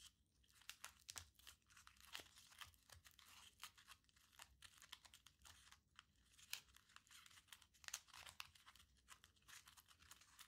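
A small crumpled aluminium foil ball is pinched and rubbed between the fingertips. It gives quiet, bright, dense crinkling and crackling in rapid irregular bursts, with almost no low end.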